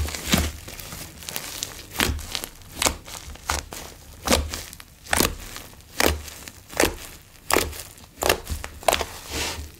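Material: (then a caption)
Slime. A large soft mass of blue slime with small coloured foam beads sits on a bamboo board while fingertips press, fold and poke it into air pockets. Crinkly, crackling squishes pop out in irregular bursts, each with a sharp broadband snap reaching into the highs over a soft low rumble.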